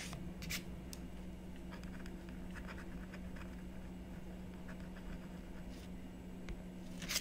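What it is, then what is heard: Scratch-art board being scratched. A stylus scratches detail lines into the coating of a flat, solid scratch-art board made of coated paper on cardboard, resting on a wooden table while the other hand rests on the board. Short, bright scratching strokes come in bursts over a steady low hum.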